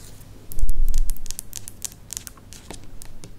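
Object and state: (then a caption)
Plastic spiral lamp. Long nails tap along the thin curved strip of a tall, white, spiral-shaped plastic lamp. The result is a quick, irregular run of light, bright clicks over a faint low rumble that swells briefly near the start.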